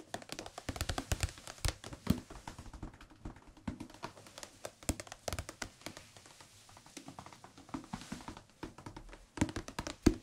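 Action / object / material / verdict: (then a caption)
tap / thick paperback book / paper / none. A thick, solid softcover Korean language textbook with a blue and white cover is held in the hands and tapped on the cover with the fingertips. The result is a dense run of quick, soft, dull taps with very short decay and mostly low-frequency weight, with a few louder thumps standing out near the start and end.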